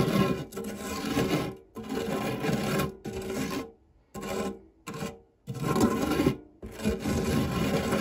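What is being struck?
Metal tart tin with nonstick coating.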